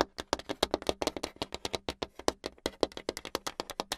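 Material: Hardboard.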